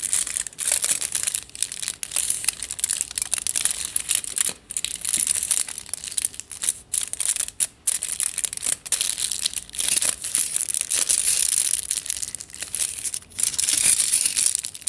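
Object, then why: Tube wrapped in aluminium foil. Fingertips and nails scratch and squeeze the crumpled aluminium foil wrapped around a long hollow tube held upright. The result is a dense, bright crinkling and crunching that is almost entirely high-pitched with no low end, broken by a few brief pauses.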